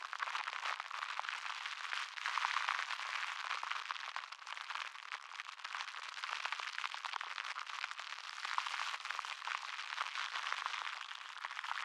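A crumpled wad of clear plastic cling wrap is held close to the microphone and crinkled and rubbed between the fingers. It makes a dense, continuous crackle of rapid, sharp snaps that sit in the mids and bright highs with no low end. The crackle swells and thins in waves over about twelve seconds, with fuller bursts near the start and toward the end.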